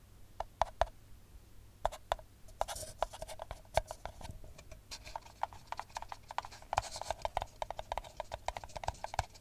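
Long nails tap and scratch an empty, hollow brown paper espresso cup held close to the mic. Many quick, dry taps with a hollow tone around 680 Hz are mixed with soft, papery scratching, and each tap dies away almost at once.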